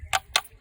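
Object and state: Rock struck at an ordinary spot, dull normal stone sound.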